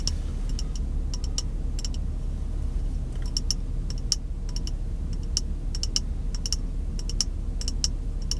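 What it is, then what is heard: Glass jar. A small, empty, clear glass jar, held near the face inside a car, is aggressively tapped with white-gloved fingertips. Quick, bright, high clicks with almost no ring come in irregular bursts throughout, over a steady low rumble.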